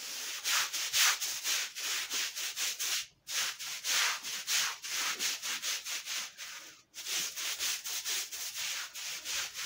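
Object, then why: Woven fabric rug. A flat, thin, very dirty woven fabric rug, soapy and wet on a concrete floor, is scrubbed with a long-handled bristle brush in repeated strokes. Each stroke makes a bright, hissy scraping swish, with wet foam and water adding to the sound. The steady rhythm pauses briefly twice.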